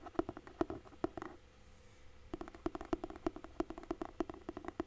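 Fingertips and nails tap and scratch the underside of a large, solid hardcover book with a red cloth-and-paper cover, held flat. Quick, dry, hollow knocks around 340 Hz come in uneven bursts, with a soft scratchy stretch in a brief lull near the middle. Each tap dies away almost instantly.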